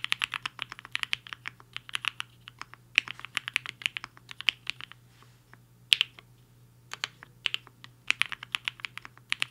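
Fingertips of both hands type fast on a compact mechanical keyboard with a black case and white and pink plastic keycaps, resting on a desk mat. About 48 short, bright clacks come in quick bursts, with brief pauses between runs, over a faint steady low hum. Each keystroke is crisp and dies away almost instantly, with most of its energy in the upper range around 3 kHz.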